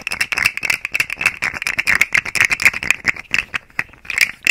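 A rainbow segmented plastic fidget slug toy is held by the fingers at its tail end and flexed, its segments clicking against each other. Rapid, irregular bursts of dry, rattling clicks are heard, bright and concentrated around 2.5 kHz and higher, with almost no low end and no ringing after each click.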